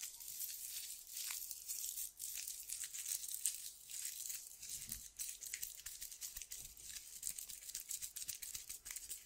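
A small tan sandpaper strip is rolled and twisted between fingertips with long dark nails. It makes steady, quiet crinkling and tearing-like rasps that are almost entirely high and bright, with short gritty bursts that stop quickly.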